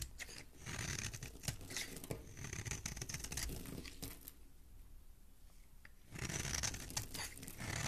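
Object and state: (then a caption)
Soap bar scraped with a blade. A metal blade scrapes a solid green oval soap bar held in the hand, shaving off crumbly green soap flakes with dense, bright, crackly scratching. The shaving quiets to a faint pause partway through, then resumes at full strength.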